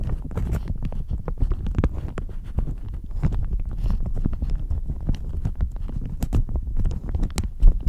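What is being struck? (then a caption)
Thin plastic shower cap. A thin floral plastic shower cap stretched over a microphone is scratched and squeezed with fingernails and fingertips. The result is a dense, continuous stream of muffled crinkling and scratching, heavy in low rumble, with short sharp ticks and brief bright crackles scattered throughout.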